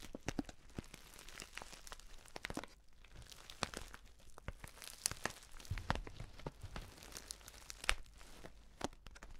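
A filled stand-up paper tea pouch with an orange "Bio Tee" print is held in both hands, squeezed and scratched with fingertips and nails. It makes a steady, close crinkling and crackling with sharp, bright snaps scattered throughout. A faint low hum sits underneath.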